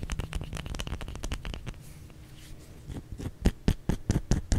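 A solid white bar of soap held in both hands is tapped and scratched with the fingernails. A quick, uneven run of dull, muffled clicks and scratches gives way to a quieter scratching stretch, then ends with sharper, louder taps that stop dead with no ring.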